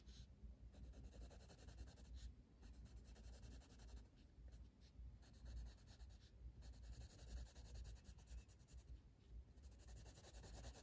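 A blue wooden colored pencil held in the fingers shades a flat paper page of a coloring book resting on a table. Quiet, continuous scratchy rubbing comes in quick back-and-forth strokes, with a soft low rumble under it and a few brief pauses.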